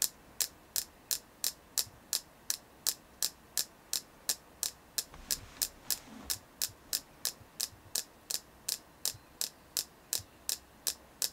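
A hand-sized, solid white carved selenite crystal is held in both hands and tapped with long painted nails. About 33 crisp, bright clicks land at a steady pace of roughly three per second. Each tap is short and high-pitched and dies away almost instantly over a faint low background hiss.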